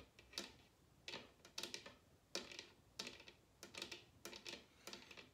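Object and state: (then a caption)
Bamboo bowl tapped with fingernails. A large, hollow bamboo wooden bowl turned upside down is tapped with long red nails. The result is quick, irregular clusters of bright, dry clicks with a hollow knock beneath them. Each tap dies away almost at once.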